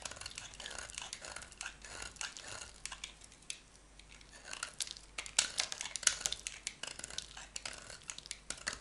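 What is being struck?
Small piece of bar soap shaved with a metal knife blade.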